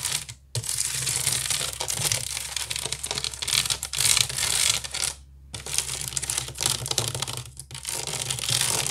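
Fingernails rapidly scratch the weave of a large, hollow woven wicker basket, producing dense, bright, crackling scrapes over a faint steady low hum. The scratching runs almost continuously, with short pauses near the start, around the middle, and shortly before the end.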